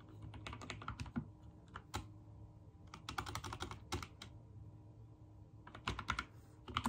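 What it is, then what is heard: Mechanical keyboard with plastic keycaps. Fingertips rapidly press keys on a backlit mechanical keyboard with white and teal plastic keycaps. Bursts of quick, dry clicks with a bright snap and a low thock come in three runs, separated by short quieter pauses; each press dies away almost at once.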